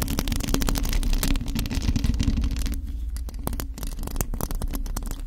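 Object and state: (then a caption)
Metal mesh microphone grille being scratched. Long acrylic nails scratch a hollow black metal mesh microphone grille held in both hands. The result is a dense, rapid stream of rough scratching with many sharp bright ticks. A heavy low rumble runs underneath and thins out slightly in the second half.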